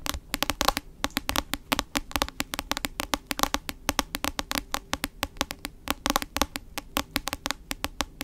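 Long acrylic nails tap rapidly on the solid, glossy cover of a medium-sized hardcover book held upright in both hands. The result is a fast, uneven stream of crisp, dry clicks that are bright and end almost instantly, with no ringing.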